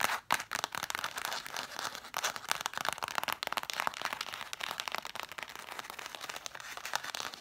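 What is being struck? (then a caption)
Cloth-bound hardcover books. Long fingernails rapidly tap and scratch the sides and spines of a stack of red cloth-bound hardcover books. A dense run of dry, bright clicks and scratchy rasps is heard, with almost no low end and each tap dying away almost instantly.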